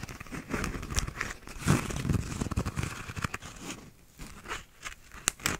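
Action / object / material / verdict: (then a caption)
scrape / paper cup with textured plastic sleeve / plastic / none. A small, hollow, empty paper cup with a cardboard inner wall and a blue, bumpy, textured plastic outer sleeve is rotated in the hands and scratched with fingernails. The result is an uneven run of dry scratching and crinkling over a low handling rumble, with a few sharp, bright clicks toward the end.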